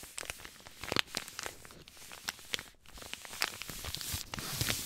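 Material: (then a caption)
Paper. A white paper compress pouch with blue print is crinkled and scratched with fingertips. Brief, bright crackles and scratchy rustles come in irregular bursts over a soft, steady papery hiss. Each crackle is dry and stops almost at once.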